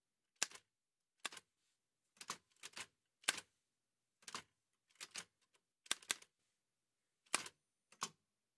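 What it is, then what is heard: Manual metal typewriter keystrokes. White satin-gloved fingertips press the keys of a large, heavy old Remington manual typewriter with a dark painted metal body and paper loaded. Sharp mechanical key and typebar strikes come in irregular single and double bursts. The clacks are bright and dry, dying away almost instantly with no ring.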